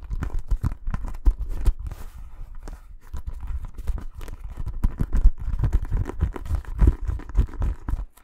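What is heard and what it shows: A green inflated synthetic leather football is held close to the microphone and tapped and scratched with fingertips. Quick, dull, low thumps come in a dense, uneven flurry, mixed with a faint scratchy rustle, and each tap dies away almost at once.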